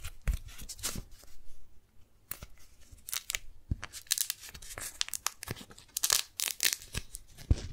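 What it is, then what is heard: Beeswax-coated cotton food wrap. A single small strawberry-print beeswax-coated cotton food wrap is held in both hands while fingertips and nails pinch, fold, grip it and peel its sticky layers apart. The result is a run of sharp, bright, tearing-like peels and crinkles over soft low rustling, with short quiet gaps between bursts.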